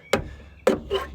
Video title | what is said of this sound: FMP Car Rebuild Film You Tube | don't just go like that cuz it sounds solid enough, but it really isn't.